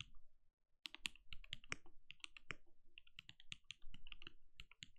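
A compact RGB-lit mechanical keyboard with a translucent plastic case and plastic keycaps, resting on a desk, is typed on steadily with the bare fingertips of both hands. Quick, dense clicks and clacks with a bright top and a low thock follow one another after a brief pause near the start. Each keystroke cuts off almost at once.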